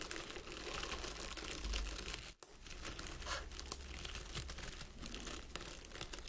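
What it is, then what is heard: Artificial plastic pine wreath. Fingertips and nails scratch and rub through the needles of a small round wreath of artificial plastic pine lying on a table, with a candle standing behind it untouched. A steady, bright crinkling and rustling runs throughout over a faint low hum, dropping out briefly near the middle before resuming.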